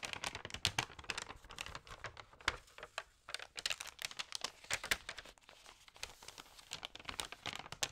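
Fingertips rub and turn the pages of a thin, damp paper magazine close up, making dense, bright crinkling with rapid sharp crackles and brief quieter lulls. The sound is mostly high and crisp, with little low end.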